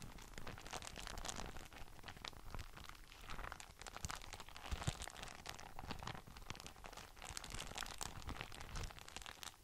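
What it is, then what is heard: Plastic document folder. A large, empty, translucent frosted polypropylene document folder made of thin, flexible sheets is bent and curved by both hands while the fingertips rub its surface. The result is continuous crinkling and crunching, with dense, quick crackles spread across a broad range up to bright highs over a low rumble.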